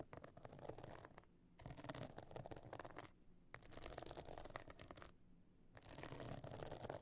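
Long nails scratch with both hands across the stone-chip encrusted top of a closed pebble-encrusted metal-frame clutch bag lying flat. Dense, bright, gritty scratching comes in three bursts separated by short quiet pauses.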